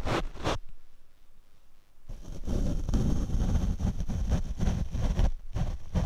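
A paint brush sweeps over the black foam windscreen on a Rode microphone, making deep, rumbling brush strokes. Two quick strokes are followed by a quieter stretch, then steady, scratchy brushing continues with a faint high whine beneath it.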